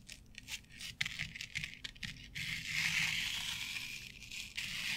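Long nails scratch through the fibers of a flat board covered with synthetic turf, making bright, crackly rustling. Quick, uneven bursts of scratching come first, then settle into a steadier, louder dry scrape that continues to the end.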